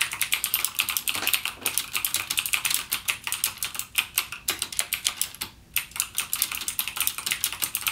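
Fingertips type rapidly on the clicky blue-switch keys of a backlit plastic mechanical keyboard. Dense, sharp, bright clicks follow one another with very short decay and almost no low end, pausing briefly near the middle before resuming.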